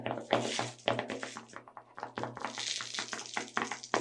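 A small clear plastic tub full of sugar sprinkles is tilted in the hands while long red nails tap its lid and walls. The result is a quick, irregular run of crisp, hollow plastic taps and clicks with short decays, and a faint, bright rustle between them.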